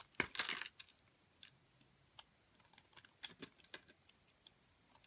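A metal utility blade cuts and scrapes a solid white bar of soap, held in a long-nailed hand, into small flaked cubes. A brief, bright scraping burst at the start gives way to about fifteen quiet, crisp ticks and clicks with almost no low end and no ring.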